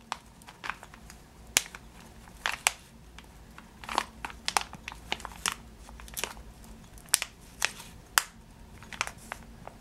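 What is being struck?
Plastic bag of sugar-coated almonds.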